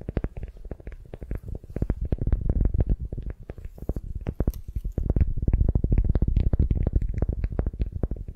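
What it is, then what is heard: Beeswax wrap on a wooden sphere. Long nails scratch and fingers squeeze a beeswax-coated cotton wrap pulled around a solid wooden sphere. The result is a rapid, irregular stream of short, dry, low crackles and taps with brief bright flicks on top. The sound grows louder and denser in the second half.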